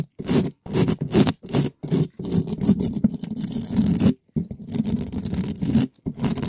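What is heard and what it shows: A gloved hand scratches the side and top of a black metal mesh microphone grille, a hollow dome, with a red spiky rubber ball. Loud, fast scraping and scratching comes in bursts separated by brief silences, with a dense, low-heavy, muffled tone.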